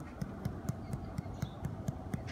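Fingers tap the side of a bloated male Cyclura iguana's abdomen, at the spot where a needle would be inserted, in a steady, evenly spaced series. Each tap is a short, dull, low thump that dies away almost at once. The side sounds hollow because a gas-filled loop of intestine is pushing against it, a sign of bloat.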